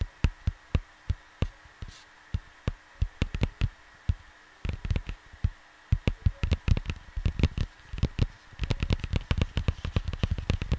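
Fingertips tap on the cover of a flat cardboard vinyl LP sleeve resting on a desk, producing short, dull, low thumps that die away almost instantly. The taps start slow and evenly spaced, then speed up into quicker, irregular clusters and end in a dense flurry of rapid tapping over a faint steady hum.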